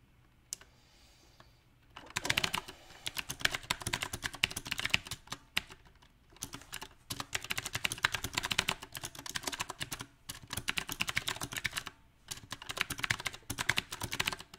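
Fingertips type unevenly on a mechanical keyboard with round plastic typewriter-style keycaps on a silver metal frame. After a near-silent opening with a couple of isolated clicks, bursts of rapid, bright key taps with very short decay run for about two seconds at a time, broken by brief pauses. The clicks are crisp and clattering, centred around 2.7 kHz with little low end.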